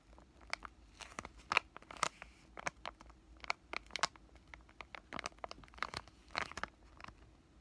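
A white, thin, palm-sized flexible plastic-laminate pouch of COSRX Acne Pimple Master Patch acne patches, held in both hands, is squeezed and crinkled with fingertips and short lavender-painted nails. The result is a quiet, irregular series of sharp, bright crinkles and crackles with almost no low end, each snap dying away instantly.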